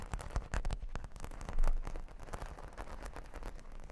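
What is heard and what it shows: Long pink nails scratch and tap across a solid, flat cork board covered with plastic half-pearl stickers. The result is a dense, continuous run of quick, crackly taps and scrapes with a deep, bassy body. It swells briefly louder about halfway through.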